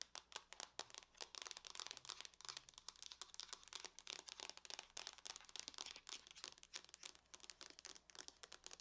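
Long fingernails on both hands tap rapidly across the lid of a closed silver aluminum laptop. The result is a quiet, dense stream of short, bright clicks with almost no low end and no ring after each tap.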